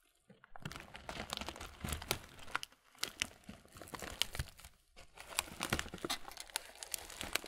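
A medium clear plastic muesli bag full of granola is squeezed and crinkled slowly with both hands. Bright, dense crackling and crunchy rustles come in three bursts, separated by brief quiet pauses, with sharp, dry snaps that stop instantly.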